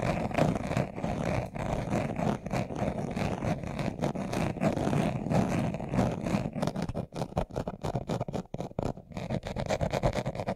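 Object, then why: Leather-covered glasses case. A brown leather-covered glasses case, hand-sized, hollow and closed, is held in both hands while its surface is scratched fast with short nails and fingertips. The result is a dense, continuous, muffled scratching with a warm, low-heavy tone and little brightness. After about seven seconds it turns into choppier bursts with brief gaps.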